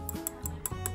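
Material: Plastic.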